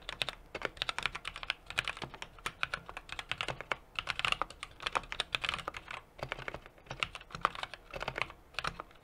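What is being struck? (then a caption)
Mechanical keyboard with aluminium case and plastic keycaps. Steady two-handed fingertip typing on a 60% mechanical keyboard with an aluminum case, brass plate and plastic keycaps. Rapid, bright clacky keystrokes come in uneven bursts, each dying away almost instantly, with little low-end body.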